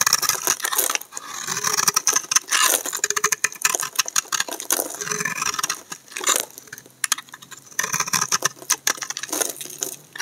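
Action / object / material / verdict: scrape / laundry soap bar scraped with a knife blade / soap / none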